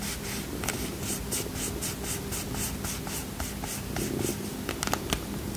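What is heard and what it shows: A small red and white cardboard playing card box is scratched and tapped with fingernails. Soft, dry scratching continues throughout, with bright clicking taps over a faint low hum, growing sharper and busier near the end.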